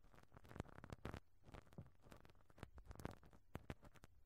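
A pink rubber-bristle brush strokes repeatedly across a round perforated metal microphone grille over a hollow capsule. The result is a quiet, dry, bassy run of short scratchy swishes and soft patters, with occasional brighter crackling ticks and almost no ring after each stroke.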